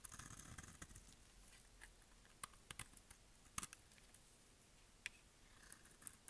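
A solid, rectangular orange bar of dry soap is held in one hand and cut with a utility-knife blade in quick, repeated strokes. The result is quiet, dry, crumbly scraping with sharp, bright clicks that die away instantly as crumbly orange flakes fall off.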